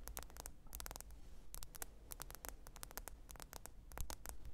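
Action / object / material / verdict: tap / smartphone glass screen / glass / none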